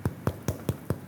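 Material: Bread.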